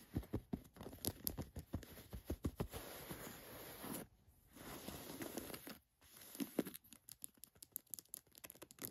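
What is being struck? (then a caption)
Cotton canvas cargo pants. Long nails scratch and tap along a pair of khaki cotton canvas cargo pants lying flat, working over the fabric, a flap pocket and its plastic button. Quiet, dry clicks and taps alternate with steady raspy scratching strokes, broken by brief silent pauses.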